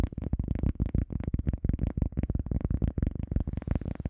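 An EVA foam sponge is tapped for ASMR with no talking, giving a quick, uneven stream of soft, muffled thuds. Each tap is dull and low-pitched with no ring or bright edge, and the taps die away instantly.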